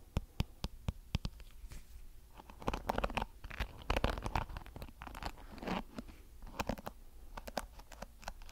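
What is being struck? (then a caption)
Plastic hairbrush with flexible plastic bristles. A small blue plastic paddle hairbrush with flexible, colored plastic bristles is strummed and scratched with fingertips. Sharp, bright clicks and flicks are heard, mixed with softer, rustling scratchy passages.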